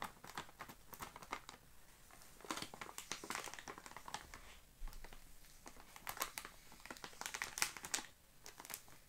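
A full, sealed plastic-film Oreo cookie package resting on grey carpet is scratched, rubbed and crinkled by fingertips. The result is quiet, bright crinkling and scratching made of many short, crisp ticks and rustles in uneven bursts.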